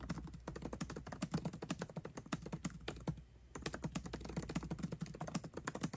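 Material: Plastic.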